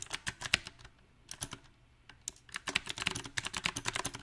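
Both hands' fingertips type on a small 68-key backlit mechanical keyboard with round, typewriter-style plastic keycaps on a silver metal plate. Short, bright clacks come at an uneven pace: a quick burst, a couple of brief pauses with scattered taps, then a denser run of keystrokes to the end.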